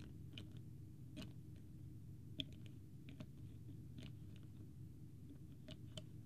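Fingertips tap and click on the white plastic screw cap of a small, partly full clear plastic water bottle with a green label, held close to the microphone. Short, dry, bright clicks come at irregular intervals over a steady low rumble, each dying out almost at once. The overall level stays quiet, with only a couple of taps standing out louder.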